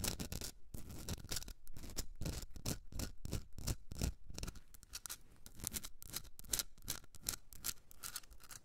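Long red nails scratch and tap a hand-sized Himalayan salt rock candle holder, a solid pink rock salt block with a rough crystalline surface. Quick, irregular bursts of dry, gritty scratching with a bright hiss repeat throughout, mixed with short, dull taps. Each sound stops almost instantly, with no ring after it.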